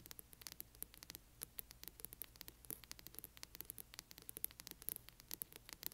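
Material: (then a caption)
Board and cloth. Long nails on both hands rapidly scratch the spine of a large hardcover book. A quiet, dense stream of quick, dry, bright scratching ticks runs without pause over a faint low hum and steady hiss.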